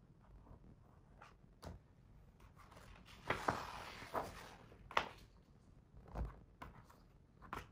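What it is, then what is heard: Hardcover picture book pages. A fingertip traces and taps along the paper pages of a hardcover picture book lying open on the same spread. Soft, dry taps come through over a quiet background, with a brief broadband papery swish from the tracing in the middle. Each sound is short and dies away almost at once.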